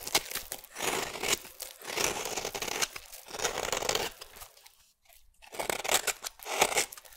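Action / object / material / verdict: scrape / solid bar soap / soap / none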